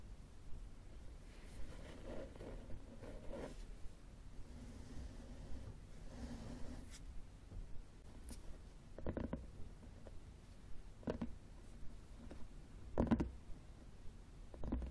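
A solid red textured cloth hardcover book lying flat on a wooden table is rapidly tapped and scratched on its cover with the fingernails of both hands. Soft, muffled scratching runs through the clip, broken by short, dull tapping bursts that die away almost at once. The sound is quiet and weighted toward the low end.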